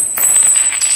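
A hard forged aluminum competition piston, for a Jupiter 130cc tune-up, is struck again and gives off a clear, bright, high-pitched ring that sustains through a series of light taps. The clear ring marks the piston as good, able to withstand high compression and high heat.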